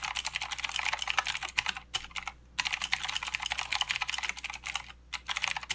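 Fingertips of both hands type continuously on a full-size mechanical keyboard with plastic keycaps and blue clicky switches. The result is a rapid stream of sharp, bright clicks with almost no low end, broken by two brief pauses.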